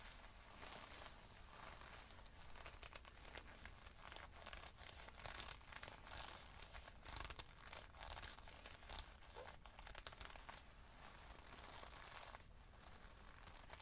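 Fingertips of both hands grip and squeeze the soft leather collar of a black leather jacket being worn, producing a dense, continuous stream of crinkling, crumpling and rubbing sounds from the thin leather. The bright, crackly texture rises and falls over a steady low hum, with a few sharper crunches standing out along the way.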